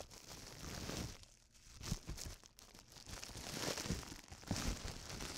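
A large, clear, hollow air-cushion plastic bubble wrap sheet is held in both hands in front of a microphone and crumpled and rubbed with the fingertips and palms. The sound is a steady, bright crinkling with soft low thumps, swelling and briefly easing off before picking up again.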